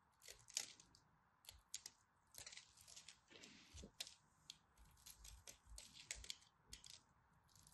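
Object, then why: Bar of dry soap. A craft blade scores a grid into a solid purple-and-white striped dry soap bar, and fingertips and the blade pop off flakes. Quiet, bright, dry scratches and crisp crackling snaps come in short bursts, each dying away almost at once, with little low end.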